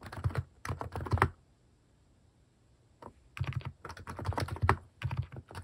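Fingertips type on a white-case plastic mechanical keyboard fitted with pastel plastic cat-shaped keycaps. Dense bursts of deep, thocky keystrokes with short clacks stop for a pause of about two seconds, then resume.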